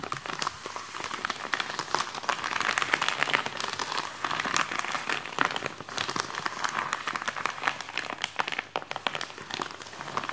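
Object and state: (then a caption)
Plastic mailer bag. Fingertips and nails scratch and crinkle a white plastic postal mailer with a package inside, resting on a desk. The clip is a steady stream of dense, bright crinkling with many quick rustling scratches.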